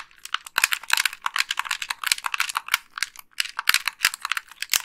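Long pink nails click the face buttons and tap the shell of a hollow white plastic Xbox 360 gamepad. The result is a quick, irregular stream of sharp, bright plastic clicks and light taps with almost no low end and no ring.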